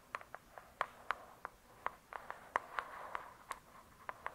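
Long acrylic nails on both hands tap and scratch the glossy, paper-covered cardboard cover of a thick hardcover book lying flat. About 15 quiet, sharp clicky taps with a bright tone around 1 kHz die away almost at once, with a soft scratchy rustle between them.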